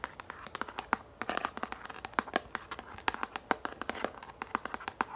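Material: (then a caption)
Plastic. Long nails tap and scratch quickly on a yellow plastic frisbee held in the hands. The result is a rapid run of short, dry clicks with bright, light scratching between them, and almost no low end.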